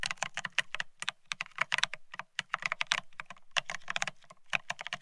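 Both hands type rapidly with their fingertips on a Bear65 mechanical keyboard fitted with blank white matte ceramic Cerakey keycaps on a steel plate, resting on white cloth. The keystrokes are a fast, uneven stream of crisp, bright clacks, each with a short low thock underneath, that stop dead with no ring.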